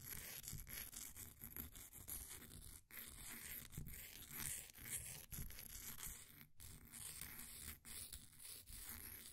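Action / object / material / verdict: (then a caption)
scrape / compressed powder bath bomb scraped with a wooden stick / compressed powder / none. A flat wooden popsicle stick scrapes and scratches the surface of a solid, green, ball-sized bath bomb of compressed powder sitting in a blue plastic ring holder. The result is a near-continuous, dry, gritty scratching with a bright, hissy top, broken by a few brief pauses between strokes.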